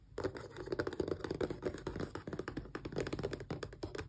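Long press-on nails tap quickly along the edges and sides of a small, closed, hollow cardboard Xbox controller box. The result is a rapid stream of dry, hollow clicks and knocks with a low-mid body around 360 Hz. Each tap dies away almost instantly.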